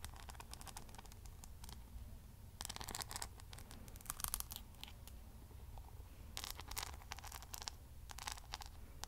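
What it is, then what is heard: Rhinestone-covered hairbrush. Long manicured nails tap and scratch across the back of a hand-sized, solid paddle hairbrush covered in silver rhinestones and pearl beads. Quiet, dense bursts of bright, crisp clicking and scraping come in clusters over a steady low rumble.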